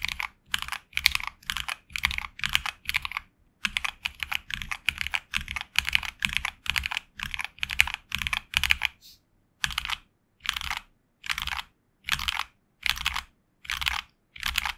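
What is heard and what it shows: Fingertips type continuously on a HyperX Alloy Origins Core tenkeyless mechanical keyboard with HX Red switches and grey and red PBT plastic keycaps, resting on a desk mat. Quick, bright clacky keystrokes with a short low thock come in steady bursts. A brief pause falls near the middle, then spaced-out bursts follow toward the end.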